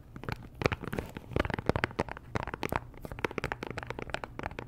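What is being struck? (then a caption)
Cellophane-wrapped cardboard perfume box. Long nails tap and scratch the sides and edges of a small, hollow pink Chanel perfume box made of cardboard and wrapped in cellophane. Quick, dry clicks and scratchy crinkles come in an uneven flurry over a soft, dull low body, and each one stops almost at once.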